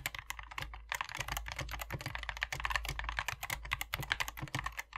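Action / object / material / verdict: tap / plastic mechanical keyboard with PBT keycaps / plastic / none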